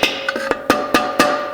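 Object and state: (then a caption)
Fully seated clutch piston. A long pry bar taps a metal clutch piston down into a 350 transmission drum, working back and forth around it, with six sharp, bright knocks carrying a short metallic ring near 1.2 kHz. The tone changes as the piston bottoms out, and it ends fully seated.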